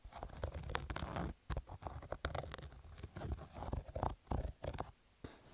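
Fingernails scratch roughly over a black cotton baseball cap, dragging across both the fabric and its embroidered logo. The result is a series of dense, scratchy, crackling bursts that are heavy in low rumble and dull, with little high-end brightness, separated by brief quiet gaps.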